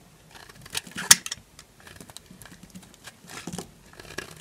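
A small knife carves flakes from a solid, dry yellow bar of soap held in the palm. Quiet, bright, crisp scraping and cutting crackles come in short bursts, with one sharper, louder snap of a flake breaking away early on.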